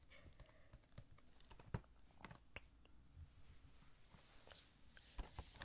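Fingertips tap quickly and lightly on a small hollow cardboard Funko Pop box with a plastic window, holding an Art3mis figure inside. The taps are dry, short and papery, with a few louder knocks and bright clicky ticks over a soft low thump, and they die away almost instantly.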